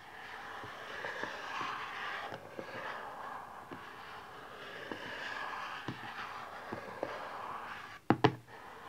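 A small, rigid cardboard smartphone box lies flat, back side up, while nails and fingertips scratch and tap across it. A soft, steady papery scratching runs throughout with faint light ticks, then a few sharp, louder taps near the end that stop quickly.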